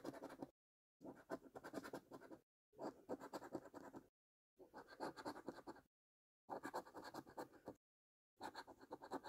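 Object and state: Paper scratch card being scratched.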